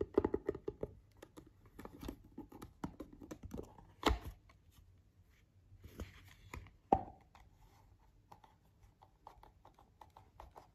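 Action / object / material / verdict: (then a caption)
tap / hard plastic eyeglasses case / hard plastic / none. Fingertips and nails tap on the lid of a closed, hollow, cream-coloured hard plastic eyeglasses case lying on a bed. The result is a string of quick, dry, clicky taps with a hollow mid-pitched tone and almost no ring. A few sharper, louder knocks come near the middle of the clip, and the rest are softer scratchy taps.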